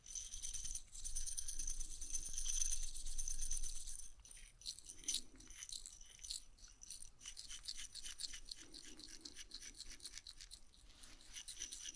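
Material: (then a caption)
Glass. A glass jar is shaken as an ASMR trigger, giving a bright, high-pitched rattling and jingling. A dense, steady stretch of shaking for the first four seconds gives way to quieter, irregular bursts of rattling.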